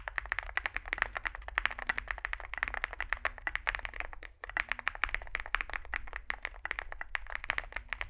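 Fingertips type continuously on a small 65% Zoom65 mechanical keyboard with a dark case and white and grey SA plastic keycaps. The result is a rapid stream of short, dry clacks centered around 1.9 kHz with bright edges, briefly pausing near the midpoint, over a faint low hum.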